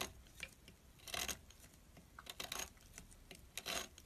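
A small metal blade cuts thin strips from a solid orange bar soap, with a pile of shavings beside it. Quiet, crisp, bright scraping and slicing strokes come in irregular bursts, with low background between cuts.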